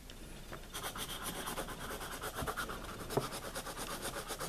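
A wooden pencil writes on the pages of a wire-bound paper spiral notebook lying flat on a table, its graphite tip scratching across the paper. A quiet, steady stream of fine, dry scratching strokes with soft pulsing rhythm runs throughout, with a brief sharper tick near the end.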